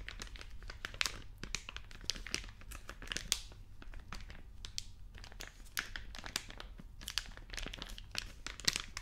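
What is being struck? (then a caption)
Plastic-film snack bag. A small orange printed plastic-film snack packet, hollow, apparently sealed and partly filled, is held in both hands and squeezed and rubbed with the fingertips to make it crinkle. Dense, bright crinkling comes in bursts of sharp, quickly fading crackles. A steady low hum runs underneath.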